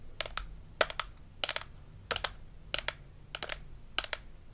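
A hollow plastic dental model with plastic teeth from a Melissa and Doug Super Smile Dentist Kit is held in hand while its teeth are tapped and scratched with long acrylic nails. Quick bursts of two or three sharp, bright clicks repeat at an uneven pace, each dying away almost instantly. A faint low hum sits underneath.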